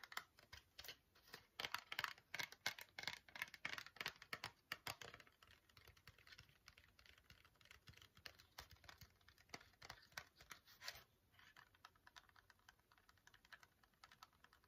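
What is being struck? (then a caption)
Small printed cardboard box. Long natural fingernails tap and scratch a small, hollow, rectangular printed cardboard box of teeth whitening strips held in both hands. The result is a quick, irregular patter of dry, bright clicks and scratchy rustles, busiest and loudest in the first five seconds, then lighter and softer.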